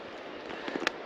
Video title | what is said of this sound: De Millau à Florac | entre nous ça sonne pas creux